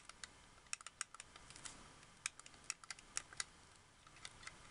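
Fingertips and long nails click and tap the buttons, bumpers and triggers of a white, hollow, hard-plastic wireless Xbox 360 controller. The result is a quiet, irregular run of sharp, bright plastic clicks and ticks that stop dead, with almost no low end.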